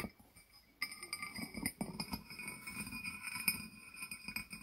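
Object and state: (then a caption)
Glazed ceramic jar with lid. A small, hollow, barrel-shaped glazed ceramic jar with its lid on is tapped on its sides with the fingertips and nails of both hands. After a brief quiet start, a steady run of quick, bright clinks follows, each one short and dry with a high ringing tone.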